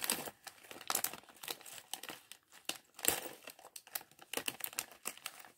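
A small, clear, thin plastic bag partly full of loose LEGO plastic bricks from the LEGO Chevrolet Corvette C8.R Race Car set 76903 is held in both hands while fingertips crinkle and rub it, and the bricks inside may shift. Many quick, bright crinkling bursts come in an uneven stream, with almost no low end and no ring after each one.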